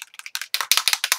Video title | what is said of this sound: Beginner Mixed Media Background | put them in so it helps shake it to